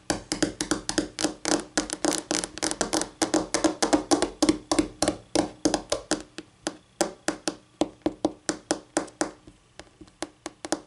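Long acrylic-painted nails in pink and navy tap rapidly with both hands on a solid, flat white wood-grain laminate tabletop. The result is a dense, irregular stream of sharp, bright clicks, each dying away almost instantly, over a faint hollow tone near 300 Hz. The tapping thins out and becomes more spaced in the last few seconds.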